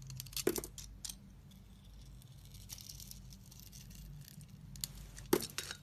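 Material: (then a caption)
Soap. A hand-held solid rectangular soap bar with a pink glitter surface and a white core is shaved and cut with a box-cutter blade. Soft, crackly scraping runs throughout over a steady low hum. Two sharper, crisp clicks stand out near the start and the end.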